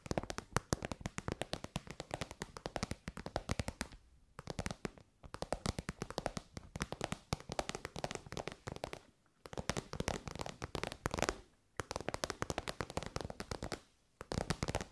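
Long white nails rapidly tap and scratch an elongated, shiny pink metallic faux-leather (vinyl) pouch that is soft and hollow. Dense bursts of crisp, dry, bright clicks run continuously, broken by brief quiet pauses at about 4, 5, 9, 11.5 and 14 seconds.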